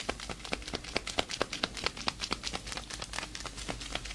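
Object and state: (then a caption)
Leather gloves creaking. Hands in black leather fingerless gloves, with long nails left free, flex and rub close by so the leather creaks and crinkles. Quick, dry, bright crackles repeat at an uneven pace over a soft hiss, each one stopping almost at once. No other object is touched.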